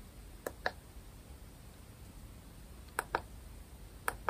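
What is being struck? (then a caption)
Small plastic remote control. A small, round grey-and-white plastic IKEA smart light remote, held near the microphone, is tapped with long nails. Six short, dry, clicky taps land in pairs, ringing mid and bright. Faint low background hiss fills the quiet gaps between taps.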